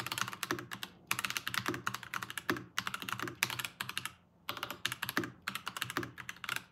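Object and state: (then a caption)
Plastic mechanical keyboard being typed on. Both hands type fast with their fingertips on a full-size Varmilo VBS108 Chinese-style mechanical keyboard with Kailh ask crane switches and plastic keycaps, resting on a pink desk mat. Rapid bursts of short, bright, crisp clacks with very little ring and almost no low end are broken by brief pauses, the longest near the four-second mark.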